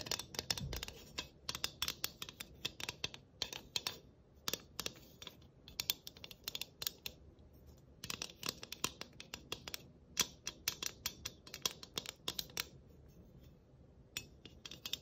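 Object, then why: Galvanized tin sheet-metal ornament. Long nails scratch and tap along the scalloped edge and face of a round galvanized sheet-metal Christmas ornament with tree cut-outs and a bow. Rapid, bright metallic clicks and scrapes come in dense bursts, centered around 3.3 kHz with little low end. Each tap dies away almost instantly, leaving brief gaps between clusters.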